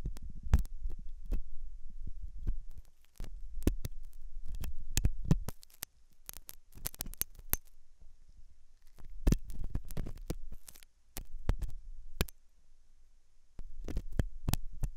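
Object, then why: Silicone dummy ear of a microphone. A thin hooked metal dental tool scratches inside the ear canal of a white silicone dummy ear on a binaural microphone, which is soft and solid-looking. Close, deep thumping scrapes and rubs come in bursts, with sharp clicks and brief bright metallic ticks between quieter pauses over a low hum.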